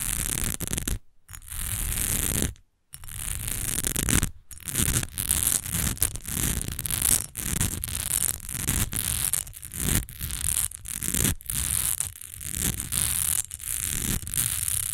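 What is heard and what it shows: Long nails rapidly scratch and tap the surface and edges of an upright, partly filled, rectangular textured glass perfume bottle. The result is a dense, continuous rasping scratch with bright hiss and a low rumble, broken by short taps and a few brief pauses.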